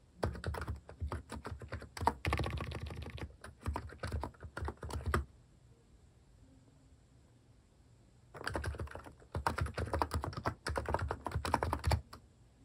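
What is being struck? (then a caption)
Keyboard with plastic keycaps. Fingertips type on a compact keyboard fitted with plastic cat-shaped keycaps, producing rapid clacky keystrokes with a deep, thocky body and short, dry decay. The typing runs in two bursts separated by a quiet pause of about three seconds.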